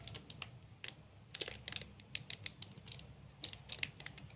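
A large 45 g Snickers chocolate bar, solid and sealed in a glossy plastic wrapper, is held in both hands while fingertips and nails scratch and squeeze the wrapper. A rapid, uneven run of short, crisp crinkles and taps sounds bright and high, each dying away almost instantly over a faint low hum.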